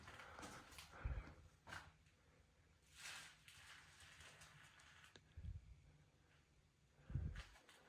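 Knuckles knock on the metal heating oil tank for an oil furnace in a basement, giving dull, low, hollow thuds that die away almost at once, separated by quiet stretches. The tank sounds empty, and its gauge confirms it is almost empty, with only a little oil left.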